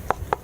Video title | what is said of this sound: Exploring a Abandoned anti aircraft emplacement | It's kind of like a roofing material. And it sounds hollow.